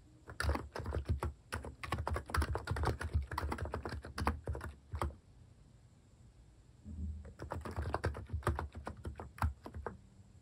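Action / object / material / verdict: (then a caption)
tap / capacitive keyboard with plastic keycaps / plastic / none. Fingertips type on the plastic cat-themed keycaps of a Hanmumu capacitive keyboard, producing a rapid run of soft, muffled, low thocking keystrokes with very short decay. The typing pauses for about two seconds, leaving only faint background hiss, then resumes in another quick burst.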